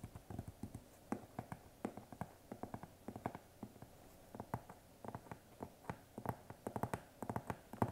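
Fingertips with short painted nails tap and knock on the flat side of a large, hollow brown corrugated cardboard shipping box held up in the air. The result is an irregular run of quick, dull, hollow thumps with a low body and almost no ring, some landing in fast clusters and others spaced out, over a quiet background.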